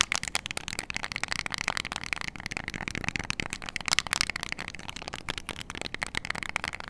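Long nails rapidly tap and click the rubber buttons of a small, flat, hollow plastic IR LED remote control held in both hands. The result is a steady stream of quick, dry, bright clicks with almost no ring, carrying a light plastic tone around 2 kHz.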